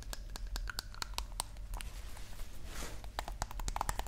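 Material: Glass.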